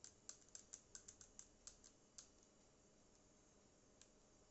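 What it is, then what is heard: Plastic portable speaker tapped with nails. Long acrylic nails tap a small black Bluetooth speaker with a matte plastic body, buttons, a yellow logo and a hollow casing. About 14 quick, bright, clicky taps come at an uneven pace, bunched in the first two seconds and then sparse. Each tap dies away almost instantly over a quiet background hiss.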